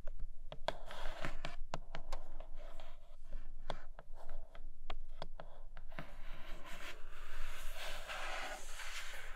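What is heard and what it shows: Long nails tap on a flat grey cardboard Nomad tablet-case box with a clear plastic window, striking both the window and the frame. The result is quick, dry, clicky taps with a bright edge. The second half turns into a denser, scratchy rustle.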